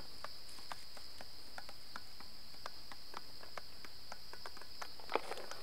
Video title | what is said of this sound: SITUS GUNUNG PADANG CIANJUR - Jalan Jalan bareng anak TRIPOT Tahun 2014 | Bisa bunyi, bunyinya beda-beda dari ujung ke ujung beda. Tuk tuk tuk tuk.